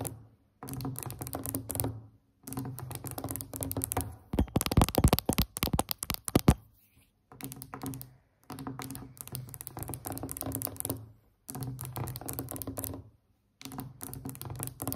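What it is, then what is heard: Wooden tabletop being tapped. A large, solid wooden tabletop with a glossy finish is tapped rapidly with long acrylic nails and the fingertips of both hands in a fast build-up pattern. Bursts of quick, dry taps with a low, thumpy body are separated by short silences, with a louder, denser flurry in the middle. Each tap dies away almost instantly.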